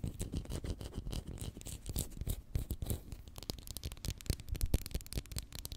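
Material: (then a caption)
Plastic. Long manicured nails rapidly tap and scratch along the plastic body of a small, capped Pritt glue stick, a plastic tube filled with glue held in one hand beside the mic. The result is a dense stream of quick, close-miked clicks and scrapes with bright ticks over soft low thumps.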